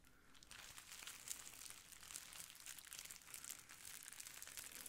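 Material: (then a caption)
Plastic. A clear plastic bubble wrap sheet held beside the mic is scratched with nails and squeezed with fingers, making it crinkle. A steady stream of bright, dense crackles and scratchy rustles continues throughout with no pauses, the crisp sound concentrated high up with little low end.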